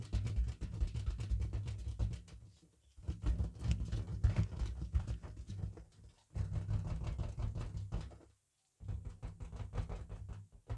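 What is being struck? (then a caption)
Inflated latex balloon. Fingertips in thin latex gloves tap and rub across a fully inflated, hollow, head-sized pink printed latex party balloon held in front of the face inside a car. The result is a dense patter of soft, boomy, low hollow thumps mixed with squeaky rubbing, coming in several bursts separated by brief near-silent pauses.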